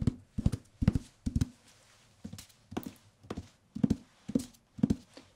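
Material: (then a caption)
Paper. A medium softcover paperback with a white and dark green paper cover and a solid block of pages is held in the hands and tapped and scratched on the cover with the fingertips. Quick clusters of dull, low, hollow taps with almost no ring alternate with soft, brief papery scratches, separated by short quiet gaps.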